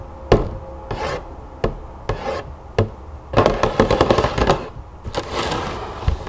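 Long acrylic nails tap and scratch the top face of a hollow cardboard cereal box lying flat on a wooden table. Sharp, dull taps alternate with short scratchy rasps, then build into a dense flurry of quick tapping and scraping before easing into softer scratching.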